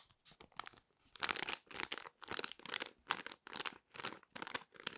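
A small, flat, sealed and full foil-laminate sheet mask sachet is held in both hands and crinkled and scratched with long red nails. Quick, bright crinkling bursts repeat in an uneven rhythm, some brief and others drawn out, with almost no low end and crisp, dry scratches between them.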